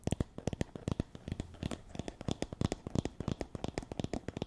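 Long nails scratch and strum the wooden pin bristles of a hand-sized wooden (bamboo) paddle hairbrush with a teal cushion. The result is a rapid, uneven series of short, dry ticking clicks with a soft low thump beneath, each snapping off almost instantly.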